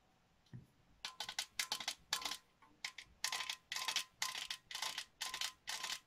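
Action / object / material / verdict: tap / printed metal tin canister / metal / none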